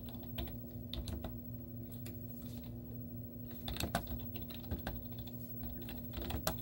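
Long teal-painted nails and fingertips type rapidly on a white plastic laptop keyboard with hollow keys and cartoon stickers on them. Quick, hollow plastic clicks and taps with bright ticks come in uneven bursts over a steady low hum.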